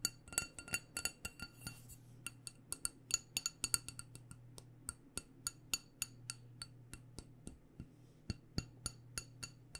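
A small black glass candle jar with a white label, filled with wax, is tapped on its sides and rim with long painted nails. It makes a rapid, irregular run of bright, clicky glass taps that die away almost instantly, quicker and denser at the start, over a faint steady low hum.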